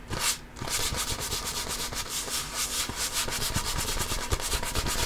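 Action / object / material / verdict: scrape / inflated composite leather basketball / composite leather / none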